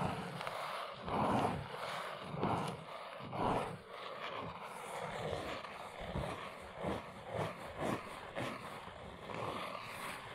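Long nails tap and scratch the sides of a small brown cardboard box standing on its end on a rug. Soft, papery taps and hollow scratching swells come and go unevenly, with a dry tone centered around 700 Hz.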